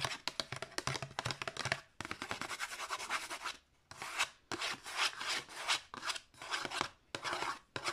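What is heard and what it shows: Long nails rub and scratch quickly over the flat surface of a thin cream paper or card disc sleeve with a disc inside. The result is a dense run of bright, dry scratching strokes and short rasping bursts with almost no low end, separated by a few brief pauses.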